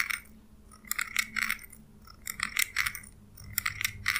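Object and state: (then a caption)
Steel scissors snipping. Small steel scissors with a purple handle, held in the fingers, are snipped repeatedly, their blades sliding and clinking metal on metal. Bright, short clicks and scrapes come in irregular clusters, separated by quiet gaps over a faint low background hum.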